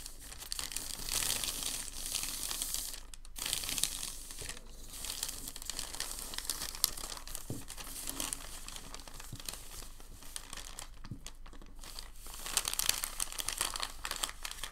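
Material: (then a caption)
Paper. A large, thin white sheet of packing paper lies flat on a dark table while fingertips and palms fold its corners and rub it flat. The result is a steady, bright crinkling and rustling that rises into louder bursts near the start, around four seconds and again near the end.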